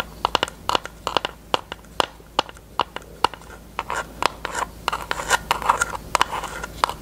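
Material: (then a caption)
Plastic. A small, thin pink plastic eyelash tray piece, taken out of its case, is tapped and scratched with long nails. A quick run of sharp, dry plastic clicks with a mid-range tone and bright edges gives way to denser scratchy rubbing, with each tap dying away almost instantly.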